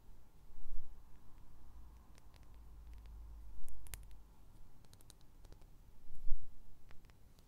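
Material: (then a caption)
Glass. A small clear glass perfume bottle with a metal cap is held upright and tapped and clicked with the fingernails. Sharp, bright little clicks come in irregular scattered bursts and die away almost at once, over a quiet low rumble.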